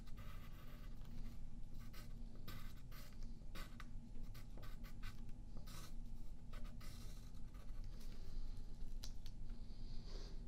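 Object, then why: Graphite pencil on a paper sheet over a wooden table. A yellow graphite pencil makes short scratching and tapping strokes on a thin sheet of white paper lying flat on a wooden table, held in place by the left hand. Quiet, dry scratches come in bright bursts over a steady low rumble, keeping a soft, even level throughout.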